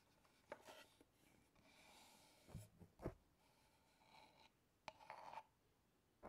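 Fingertips and nails rub and scratch the lid and sides of a small, hollow brown wooden box with a metal clasp, held in both hands near the mic. Soft, dry scraping and rasping runs throughout, broken by six sharp, brief taps that die away almost at once with a bright edge.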